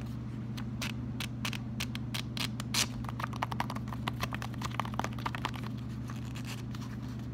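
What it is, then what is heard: Paper sticky note pad. Fingers flip the pages of a small pink paper sticky note pad, a solid stack, then scratch and tap its top sheet with fingertips and nails. The first half has crisp, bright paper flicks; the second half has a rapid run of dry scratches and light taps, all over a steady low hum.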